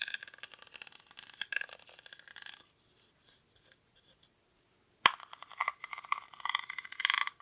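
Fingernails scratch the weave of a small, hollow woven rattan or reed basket held in both hands, its contents not visible. Dry, bright, crackly scratching runs for about two and a half seconds, then fades to near silence with a few faint ticks. A sharp click at about five seconds starts another burst of dense, raspy scratching that lasts to the end.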